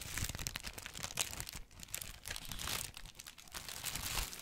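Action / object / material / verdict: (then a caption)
scrape / thin paper bag / paper / none. Fingertips squeeze and crinkle a thin, light, hollow paper bag or wrapping printed with a Daily Prophet newspaper design, held up close. Dense, bright crackling rustles run continuously with brief dips, over a soft low rumble.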